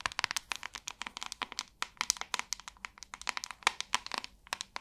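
Long nails tap with both hands on the glossy back of a large white hollow plastic paddle hairbrush. About 32 quick, sharp, dry clicks with a bright, hollow plastic ring patter in uneven bursts. Each click dies away almost instantly.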